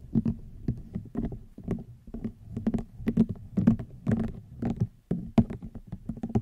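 A hollow, cylindrical woven rattan basket is tapped with long nails in quick, uneven bursts. Each tap gives a short, dry, woody knock with a hollow low-mid body and a brief bright click, and the sound dies away almost at once. The tapping continues steadily and irregularly throughout, at moderate loudness.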